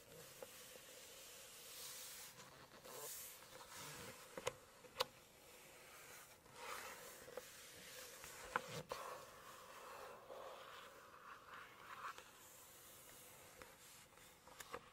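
Long acrylic nails scratch and rub the glossy paper page of a large hardcover cookbook, open to a full-spread photo of rice terraces. Soft, hissy rubbing swells come and go, broken by a few sharp, bright nail clicks, over a faint steady low hum. The overall level stays quiet and close.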